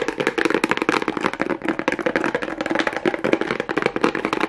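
Fingernails tap and scratch fast over a small hollow kraft cardboard box covered with a pink plastic rhinestone mesh strip. The result is a dense, continuous stream of crisp clicks and scrapes with short, dry decays. A hollow body resonates around 300 to 600 Hz, with bright, rattly detail on top.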